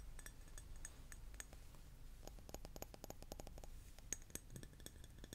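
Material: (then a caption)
Glass. A glass object is tapped repeatedly with quick, light taps, giving short, bright clinks with high ringing tones that die away almost at once. The taps are sparse at first, then come in a faster cluster in the middle before thinning out again, over a steady low rumble.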